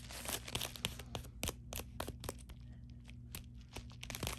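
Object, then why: Padded plastic bubble mailer. Long nails scratch along the sealed edge and then across the bubbled face of a thin, hollow, white padded poly bubble mailer. The result is quiet, crinkly, tearing-like scratching with sharp, bright flicks over a steady low hum.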